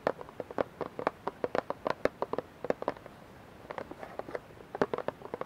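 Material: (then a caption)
Plastic. Fingernails tap and scratch the sides of a clear plastic dish soap bottle, partly filled with liquid and held in both hands. About 32 quick, dry, hollow clicks sound in an uneven rhythm, centered around 500 Hz with almost no ring, briefly pausing before resuming.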